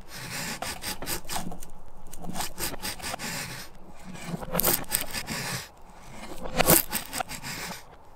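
A steel chisel blade scrapes down a solid, light-colored softwood stick standing upright against a wooden workbench with round holes, curling off thin shavings to make a feather stick. Repeated dry, rasping strokes give a broadband scraping texture with bright, crackling bursts over a low woody rumble.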